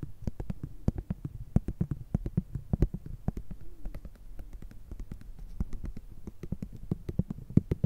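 Long red nails rapidly tap and scratch a small, flat, filled plastic and foil cosmetic cream sample sachet. The result is a steady stream of dozens of short, dry clicks with bright crisp edges over a soft, low, crinkly rustle. Most of the energy sits in a muffled low thud, and each tap dies away almost instantly.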